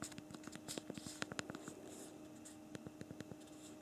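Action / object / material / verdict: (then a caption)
tap / plastic phone keyboard / plastic / none. Both thumbs type on the backlit physical plastic keyboard of a BlackBerry Priv smartphone, producing rapid, crisp plastic key clicks with short, bright transients. A faint, steady low tone hums underneath the irregular tapping, which thins out briefly in the middle before picking up again.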